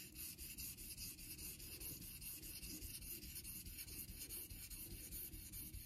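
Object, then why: Steel straight razor on a synthetic water stone. A vintage Geneva Cutlery steel straight razor is honed on a solid light-blue rectangular Naniwa synthetic water stone clamped in a holder, the blade rubbed across the wet surface in repeated strokes. The result is a steady, rhythmic, gritty rubbing with a low rumble underneath and a bright, hissy scrape on top, pulsing with each stroke.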